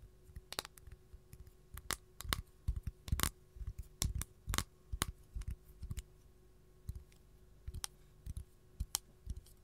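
Long gold nails tap rapidly on the surface of a flat, empty capiz shell tray, making sharp, dry clicks that die away almost instantly. The taps come in irregular bursts, pairs and quick clusters, each with a soft low knock under a bright, crisp tick, with a faint steady hum beneath.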